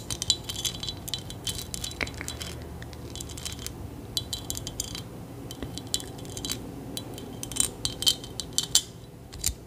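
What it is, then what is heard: Jeweled metal trinket. Long nails tap and scratch a small, solid metal figurine covered in beads or rhinestones. The result is a quiet, steady run of bright, crisp clicks and scratchy rasps over a low background hum, with a few sharper taps standing out near the end.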